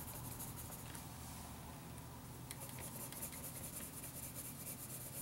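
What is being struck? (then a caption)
Graphite pencil on lined paper. A graphite pencil tip rubs and scratches back and forth in shading strokes across a lined paper notebook page while drawing. The quiet, continuous strokes make a soft, bright scratchy hiss over a steady low hum, with short, sharper scrapes in the second half.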